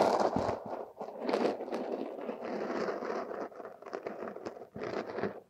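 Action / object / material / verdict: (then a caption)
scrape / kinetic sand scraped by thin metal hooks / sand / none. Two thin metal hooks dig and scrape through a mound of purple, crumbly kinetic sand packed over a silicone nose. The result is a steady, grainy crunching and scraping, strongest in the midrange, with brief louder gritty bursts as the hooks break through the sand.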